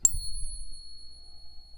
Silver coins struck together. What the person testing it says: with the real silver when you ping it has a long lasting sound